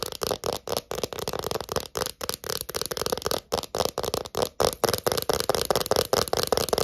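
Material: Plastic.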